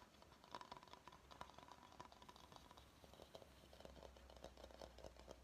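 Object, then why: Bamboo salad bowl. Fingernails tap and scratch the outside of a medium, hollow, empty bamboo salad bowl held in the hands. Quick, soft, clicky taps mix with light scratching, with a faint hollow tone near 1 kHz. Each tap dies away almost at once over a low, steady hum.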